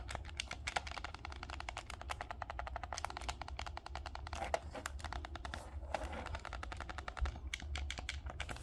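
A dark green plastic Nintendo Switch Pro controller is held in both hands while the thumbs tap its D-pad, buttons and sticks. Quick, dry plastic clicks and ticks come in a rapid, uneven stream, with a few brighter, louder snaps. A steady low hum runs underneath throughout.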